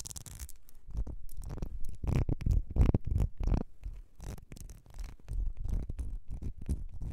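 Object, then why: Small ribbed glass perfume bottle. Long red nails scratch and tap along the ridges of a small ribbed glass perfume bottle with a gold cap. The result is a dense, irregular run of short, dry scratches and clicks, heavy in the low end with brief bright bursts, and each sound dies away almost instantly.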